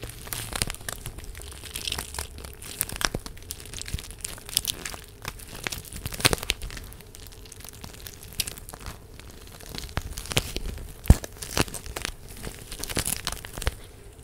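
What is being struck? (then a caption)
Plastic gel bead face mask. A clear plastic gel bead face mask is squeezed and crinkled between fingertips close to the microphone. The result is a dense, irregular run of sharp crinkling and crackling snaps with bright edges, each dying away almost at once, over a steady low hum.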